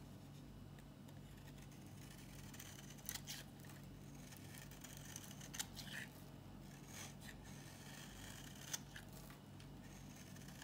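A solid, dry green bar of soap held in the hand is scraped with a metal utility-knife blade. The result is a quiet, continuous dry scratching and shaving sound, with a steady low hum underneath. A few sharper, bright scrapes stand out among the softer strokes.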